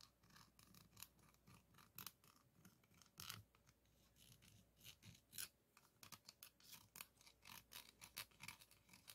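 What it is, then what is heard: Metal microphone mesh grille scraped with a wooden stick. A wooden popsicle stick held in the fingers is scratched and rubbed across the large, hollow, dome-shaped woven steel mesh grille of a condenser microphone. The result is a quiet series of bright, raspy scratching strokes, some quick and some drawn out, with a faint low hum underneath.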